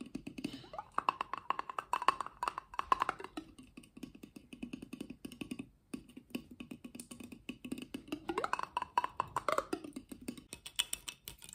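A medium-sized clear glass jar with a paper label and a white plastic lid, hollow and apparently empty, is held in one hand and tapped very rapidly with the fingertips and nails of the other. The result is a fast, continuous stream of short, dry clicks and taps. In some stretches a hollow ringing tone near 1 kHz rises through the taps.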